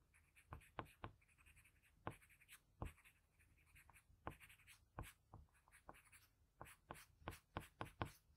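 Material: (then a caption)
Paper. A hand drags a blue patterned graphite pencil across a flat sheet of drawing paper, scratching repeated shading strokes around a drawn eye. Quiet, dry scratches come in quick bursts, each with a sharp, bright tick, over a soft low hum.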